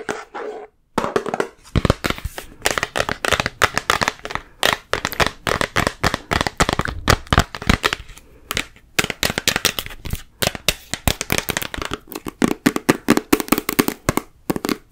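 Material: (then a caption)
Plastic. Long nails rapidly tap and scratch the body of a large, full plastic peanut butter jar with a yellow lid. The result is a dense run of short, dry clicks with a dull body around 300 Hz and bright scratchy edges, each tap dying away almost instantly. There are a few brief pauses between bursts.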